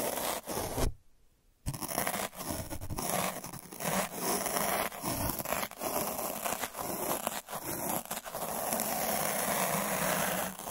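A black derma roller with a purple drum of metal needles, held at the fingertips, is rolled over a flat white paper or board surface. The needles scratch it with a steady, bright, crackling scrape. The sound has a brief silent gap near the start and otherwise continues evenly throughout.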